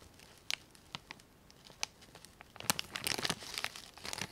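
A small clear plastic zip bag with cotton swabs inside, lying on foam, is opened and crinkled with fingertips and nails. Scattered sharp, bright crinkles give way after about two and a half seconds to a denser, louder run of crackling and tearing-like rustles. The sound is thin and high with almost no low end.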